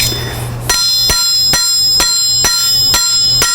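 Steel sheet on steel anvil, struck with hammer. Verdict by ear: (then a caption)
Rings. A hammer strikes the flat part of a 16 gauge steel sheet lying flat against the face of a steel anvil, with repeated blows. Each blow gives a bright, high-pitched metallic ring that sustains between strikes. The anvil rings because the flat metal sits right against its face, so all the hammer's force goes into the anvil.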